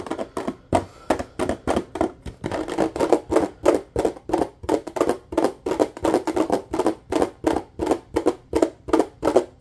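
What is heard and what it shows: A nearly empty clear plastic bottle, held in the hand, is tapped quickly with the fingertips and a single finger. The taps are short, hollow and dull, with most of their energy in the low mids. They come in a fast but uneven stream, with brief gaps in between.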